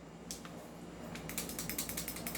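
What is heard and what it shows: A non-upgraded 2011 airsoft pistol is shaken, and its loose outer barrel rattles in a rapid series of sharp, bright metallic clicks over a faint steady low hum. The clicks start sparse and become quicker and denser toward the end. The rattle comes from the outer barrel being loose because the pistol has not been upgraded.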